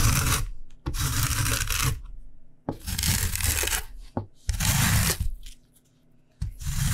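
A solid whole yellow lemon is scraped repeatedly along a stainless steel rasp grater held at an angle over a white cutting board, zesting the rind on the fine metal teeth. Bursts of steady, bright rasping and rubbing with a low scraping body come in several passes, separated by short quiet pauses.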